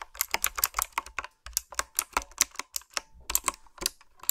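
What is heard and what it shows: Fingertips with long manicured nails type on a retro, typewriter-style mechanical keyboard with a dark frame and round backlit plastic keycaps. About nineteen quick, crisp keystrokes land in an uneven rhythm, each a bright, sharp click that dies away almost instantly, with very little low end.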